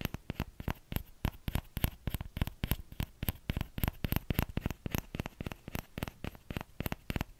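Fingertips tap the edge of the hollow bowl of a small orange plastic ladle, giving 39 quick, dry, dull clicks at an uneven pace. Each tap is short and low-heavy with almost no ring, and a faint bright edge sits on top.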